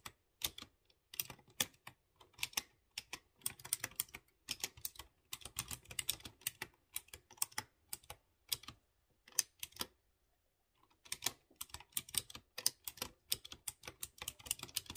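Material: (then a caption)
Plastic, metal. Fingertips with dark nails type on a light blue plastic mechanical keyboard with round chrome keycaps over clear-housed blue switches. Quick bursts of bright, crisp key clicks with almost no ring are broken by short gaps and a longer pause around the tenth second before the typing resumes.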